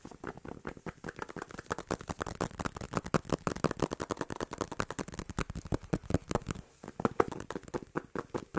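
A dark, thin, solid tablet with a glass screen and hard back is held in both hands and tapped fast with fingertips and nails, including above the head. A rapid, irregular stream of short, dry clicks and knocks has almost no ring and sits mostly in the low and middle range, with a brief pause just before the seventh second.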